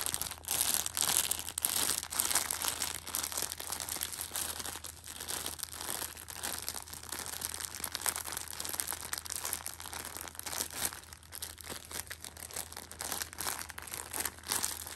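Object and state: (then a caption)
Plastic-wrapped tissue pack crinkling. A Shopkins pocket tissue six-pack in clear plastic wrap is held and rubbed with fingers and painted nails. It makes continuous bright, crisp crinkling and crunching with an irregular texture, plus a faint steady low hum underneath.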